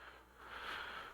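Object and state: Nothing is struck.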